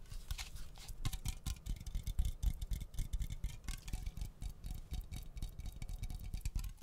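A cylindrical aluminum aerosol air freshener can is held close to the microphone and tapped along its side with long fingernails. The result is a rapid, uneven patter of soft, dull taps with a deep low thump and sharp, bright clicking tips, each one dying away at once with no ring.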